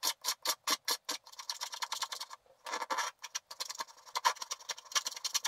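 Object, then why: Black wax-coated scratch art paper scraped with a wooden stylus. A wooden stylus scrapes fast, short strokes across a flat sheet of black wax-coated scratch art paper. Six separate bright, hissy scratches come first, then a denser run of quick scraping. After a brief pause, a few longer strokes and a rapid flurry of light scratches follow, all dry and high-pitched with no low end.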